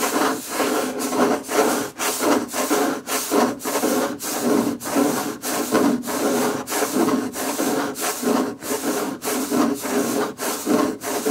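A wooden table is scratched and tapped with fingerpicks, producing rhythmic, rasping strokes with a woody midrange body and bright scratchy edges. Short pauses separate the repeated strokes, which come at an uneven pace.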